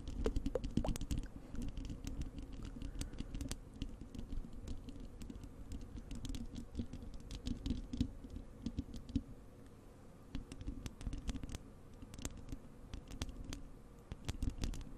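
Long acrylic nails on both hands scratch and tap across the bare, hollow wire-mesh metal grille of a large desktop microphone. The result is a steady, dense patter of fast, crisp ticks and scrapes over a deep, boomy, hollow rumble. It briefly quiets midway, then picks back up.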